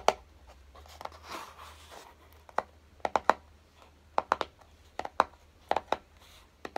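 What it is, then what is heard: Closed cardboard box. Fingertips and short nails tap the top and edges of a small, hollow, closed kraft-cardboard box on a dark table, making about fifteen short, dry, hollow taps with a mid-range knock around 850 Hz and almost no ring. Early on, between the first taps, there is a soft scratchy rustle. The taps come in small clusters of two or three.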